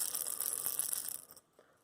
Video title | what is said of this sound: Walleye Nation Creations Shaky Shad Review | That's an even better rattle.